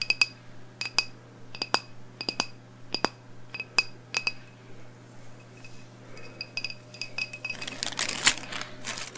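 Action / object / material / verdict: tap / wax-filled glass candle jar / glass / none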